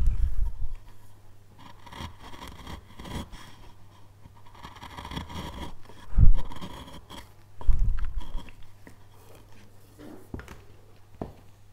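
A steel chisel scrapes and cuts into a solid light-wood basswood relief carving panel near a carved horn shape. Soft, dry scraping strokes run over a steady low hum, with louder bursts of cutting around the middle of the clip and a few sharp clicks near the end.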